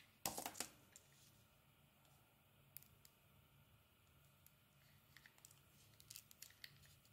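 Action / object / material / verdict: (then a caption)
scrape / soap bar carved with a metal blade / soap / none. A metal utility blade scrapes and carves thin shavings off a hand-sized, solid oval bar of pink soap with a grey layer. A loud, bright burst of scraping opens the clip, followed by quieter, scattered crisp scrapes and shaving sounds over a faint low hum.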